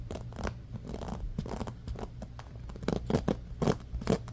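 Fingertips scratch and flick the wooden-tipped pins of a bamboo paddle hairbrush with a black rubber cushion. The result is a fast run of dry, crunchy scratching and short clicking bursts over a low, dull rumble, with the sharpest, loudest flicks coming near the end.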